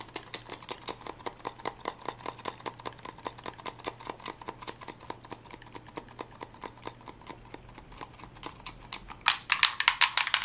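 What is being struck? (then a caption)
Plastic game controller. A hollow plastic gamepad with blue grips and an open battery compartment is held in both hands and tapped fast with long glittery nails. It makes a rapid stream of short, dry, bright clicks with a steady low hum underneath. Near the end the taps get louder and denser.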